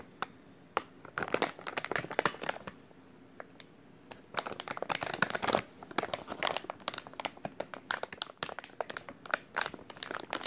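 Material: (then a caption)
Soft plastic. A full, white soft plastic wet wipes package is squeezed and crinkled with the fingertips of both hands. Dense bursts of bright, crackly crinkling come in waves with quieter pauses between them, and each snap dies away almost instantly.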